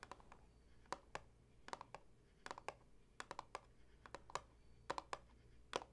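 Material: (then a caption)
Cardboard. Long acrylic nails tap and scratch on the top edge of a hollow Tazo Wild Sweet Orange cardboard tea box standing on a table. The result is an irregular run of quiet, sharp, papery clicks with a hollow mid-range knock, each dying away almost instantly over a faint low hum.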